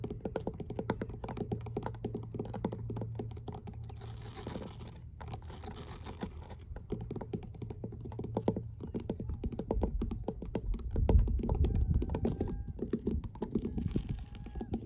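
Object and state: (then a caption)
Weathered wooden dock boards. Fingertips and long nails tap on solid, weathered wooden dock planks in a rapid, irregular stream of dull, low knocks. Each tap dies away almost at once, and a slightly louder thump comes near the eleven-second mark.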